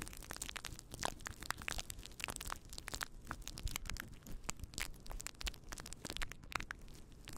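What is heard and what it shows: Fingertips of both hands rub and scratch a fluffy faux fur windscreen on a microphone, making a dense run of crackly, crunching rustles. Bright scratchy ticks sit over a steady low rumble, with quick, dry bursts and no ring.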